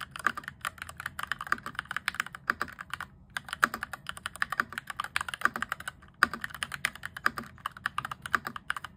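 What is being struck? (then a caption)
Plastic mechanical keyboard. Fingertips type rapidly on a cheap, modded RGB-backlit mechanical keyboard with cream and grey plastic keycaps and an orange plastic frame. The keys give a fast stream of short, crisp clacks centered in the upper mids, each dying out almost instantly. There are brief pauses near three and six seconds.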